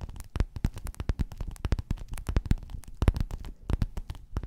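Long natural nails tap and scratch across a flat, soft, padded gold metallic faux-leather cover with a square quilted grid, lying on white fur. A rapid, uneven run of short, dull, low thumps with faint crackly scratching between them. Each tap dies away almost instantly, with no ring.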